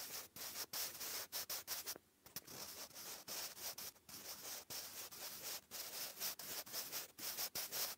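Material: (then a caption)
Paper. A wooden graphite pencil writes cursive on a lined grey paper notebook page, giving a dry, bright scratching sound. Short strokes come in quick bursts separated by brief gaps, with one longer pause near the two-second mark.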